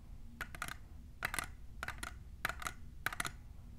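Long nails fitted with plastic clips tap a tall, clear, hollow printed plastic tumbler. Eleven short, dry, clicky taps come in quick pairs and triplets, with a bright plastic tone around 1.5 kHz and almost no ring. A soft low background hum sits underneath.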